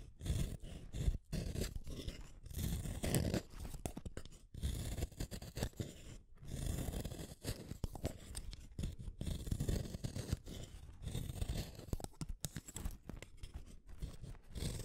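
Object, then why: Wooden colored pencil. A solid red wooden colored pencil is shaved with a small metal blade, curling off wood. The clip is a quiet, steady series of short, dry scraping strokes with a dull, low-heavy rasp and little brightness.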